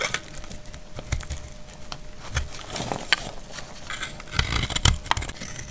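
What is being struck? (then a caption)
Bar of soap. A solid, dried white soap bar held in the hand is scraped and cut with a utility knife blade, shedding chalky flakes. The blade makes dry, crisp, crackly scrapes and short, sharp crunches with bright edges, punctuated by a few louder snaps and low thuds. A faint, steady hum runs underneath.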